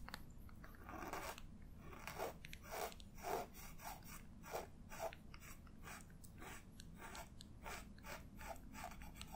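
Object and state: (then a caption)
Quill pen scratching on paper. A black feather quill pen's nib scratches across the page of an open paper sketchbook lying flat, tracing an ink loop. Quiet, dry scratching strokes come in a steady series of short, crisp bursts, each fading quickly.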